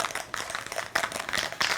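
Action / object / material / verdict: shake / metal spray paint can with mixing ball / metal / loose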